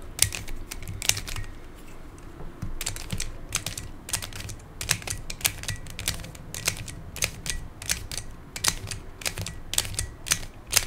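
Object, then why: Plastic pyramid twisty puzzle. A hand-sized black plastic Pyraminx, a pyramid twisty puzzle with coloured stickers and a hollow mechanism, has its layers twisted by fingertips. The result is a steady run of sharp, bright, keyboard-like plastic clicks that die out almost at once, over a low background hum.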